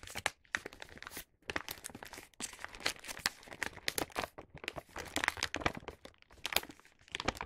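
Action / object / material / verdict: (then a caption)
scrape / paper gift bag / paper / none. Fingertips fold and crease the top of a star-print paper gift bag filled with wrapped snacks to close it. The result is a dense run of bright paper crinkling, creasing and crackling, with brief quiet gaps near 1.3 and 2.4 seconds.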